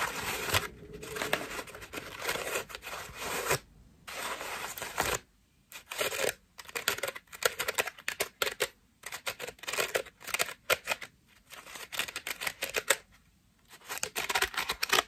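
A cream foam bath loofah with a rope loop is held in both hands while long nails scratch across its petals. The result is bursts of dry, crackly, papery scratching, bright and thin with almost no low end, broken by brief silent pauses.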